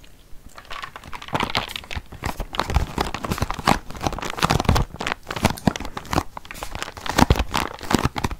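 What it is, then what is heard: Cardboard box. A long, flat, closed printed cardboard biscuit box is held in front of a microphone and scratched and tapped with fingernails. Dense, dry crinkling scratches mix with quick, short taps in uneven bursts, with no ring after each tap.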